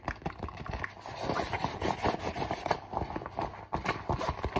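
A flat, mostly empty holographic faux leather zipper pouch, an iridescent textured synthetic leather cosmetic pouch, is tapped and scratched fast with fingertips and nails across its surface. The result is a dense, steady stream of dry, crackly taps and scrapes that centre in the midrange, with a brief dip near the end before the rapid tapping resumes.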